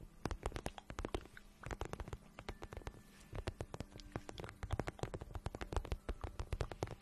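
Fingertips and long nails rub and tap the glossy surface of a hollow pink patent vinyl boot held in the hands. The result is a quick, irregular run of soft, dry taps and scratchy rubs, each with a low hollow thump and a bright, sharp click that dies away almost instantly.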